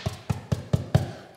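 Six dull, low knocks land on a plasterboard window reveal built a few days earlier, each a short, deep thud that dies away almost at once. There is no hollow ring, and the surround sounds solid, well fixed inside and very sturdy.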